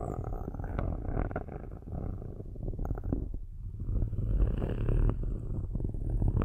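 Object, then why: Metal microphone grille. Metal-tipped sticks, held by hands with long nails, scratch the metal grille tops of two black cylindrical microphones. The scratching comes through as a dense, low, rumbling rasp with rapid gritty pulses, much like a purr, with a faint high whine above it. It keeps going at a steady level for the whole clip.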